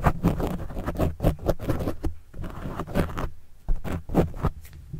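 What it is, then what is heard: Foam microphone windscreen being scratched. A pen tip scratches across a black foam windscreen on a microphone, then a fingertip rubs it, giving close, muffled scraping strokes. The bursts are quick and uneven, heavy with low, boomy rumble and little high detail.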